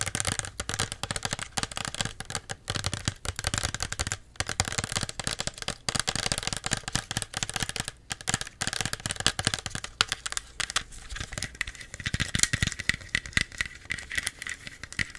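A small plastic Pepsi bottle with a plastic label and cap, held in both hands, is tapped and scratched on the label and body with long nails. The result is a dense, rapid stream of short, dry, bright clicks and crinkly scratches with no ring. Near the end, a faint steady midrange tone sits underneath.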